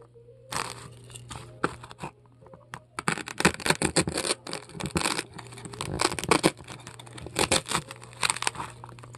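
A metal melon-baller scrapes and carves foam out of a large polystyrene foam ball, making dense bursts of bright, crunchy, squeaky crackling. The scraping comes in irregular rapid strokes over a faint steady low hum.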